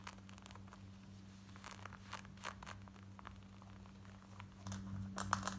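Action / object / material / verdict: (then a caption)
scrape / denim jeans / denim / none. Long nails scratch rapidly over the waistband and front of worn black denim jeans, making quick, uneven dry rasps and crinkly scrapes. A steady low hum runs underneath, and the scratching grows louder and denser near the end.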